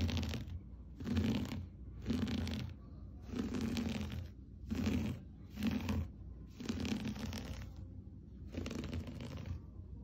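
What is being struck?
Looped-pile textile rug.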